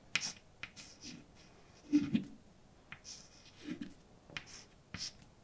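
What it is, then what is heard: Chalk writing on a blackboard. A hand holding white chalk writes letters on a large, dark blackboard with a solid, flat surface. About eight sharp chalk taps ring out between softer, bright scratching strokes, and some strokes carry a low squeaky tone. The sounds are dry and short, fading almost immediately.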